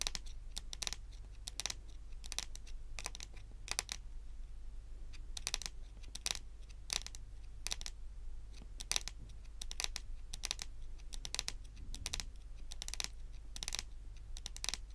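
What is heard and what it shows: A large, solid, glossy dark brown wooden table top is tapped and drummed by both hands with very long pointed green and pink acrylic nails. Quick, sharp, bright clicks come in uneven bursts and die away instantly, over a steady low hum.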